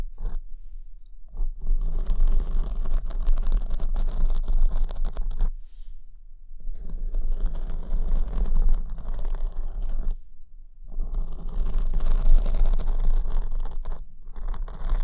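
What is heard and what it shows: Long nails scratch a soft black foam windscreen on the right microphone, held at the top. Dense, rapid scratching and rustling with a heavy low rumble comes in long bursts, broken by brief pauses near 1, 6, 10.5 and 14 seconds.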